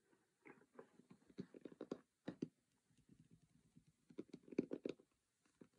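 Fingertips and nails of both hands tap and scratch the lid of a closed cardboard Monopoly game box, its lid printed white and red, resting on a cork surface. Quiet, dry, hollow taps with a low-mid body and soft scratchy edges come in irregular clusters separated by short pauses, each tap dying away almost instantly.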